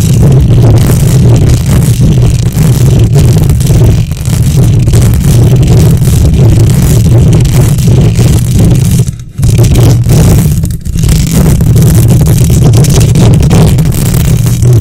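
Long nails on both hands scratch the hollow metal mesh grille of a silver condenser microphone. The result is a loud, continuous, dense rumble that is mostly low around 120 Hz, with faint scratchy texture above it. It runs nearly unbroken, with brief dips near 9 and 11 seconds.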